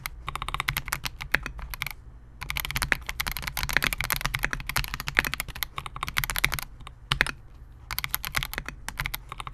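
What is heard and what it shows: A compact 68-key Melgeek MOJO68 mechanical keyboard with Gateron G Silver Pro switches, a clear polycarbonate case and SA-profile plastic keycaps, resting on a desk mat, is typed on continuously with the fingertips of both hands. Rapid, sharp, bright clacking keystrokes come in quick bursts, with two brief pauses, over a faint steady low hum. Each click dies away almost instantly.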